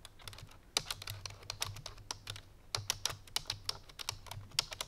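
A full-size black plastic computer keyboard resting on a white fur rug is typed on quickly with the fingertips and painted nails of both hands. It gives a fast run of sharp, bright, clicky keystrokes that die away almost instantly, over a faint low hum.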